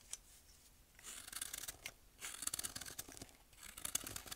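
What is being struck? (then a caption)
Pressed baking soda block. A thin metal blade shaves down the side of a hand-sized pressed baking soda block held upright, releasing falling powder and flakes. The sound is a quiet, bright, crisp scraping and crunching that comes in several rasping bursts with short pauses between them.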